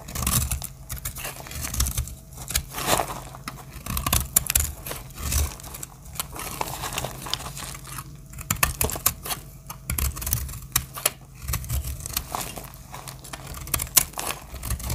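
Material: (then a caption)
Soap. A solid beige dry soap bar with green and brown inclusions, held in the hand, is shaved and cut with a small metal blade, and flakes break off. Dense, crisp scraping and crackling clicks with a bright edge come in uneven bursts over a steady low rumble.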